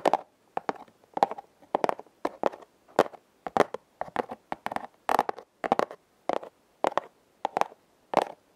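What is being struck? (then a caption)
Corrugated cardboard heart-shaped box. A flat, hand-sized red corrugated cardboard heart, possibly a hollow heart-shaped box, is held upright and scratched across its ribbed surface with long nails. A steady rhythm of short, crackling, ratcheting scrapes repeats about every half second, each burst rippling over the ribs with a papery midrange body and bright, dry edges. Each burst stops dead into near silence between strokes.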